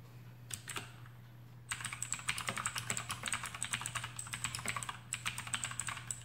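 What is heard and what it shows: Fingertips of both hands type rapidly on a full-size black plastic AUKEY KM-G6 mechanical keyboard with RGB backlight and clicky Outemu blue switches, resting on a desk mat. A couple of isolated clicks give way to a fast, steady stream of sharp, bright key clacks with a short pause near the end. A low, constant hum runs underneath throughout.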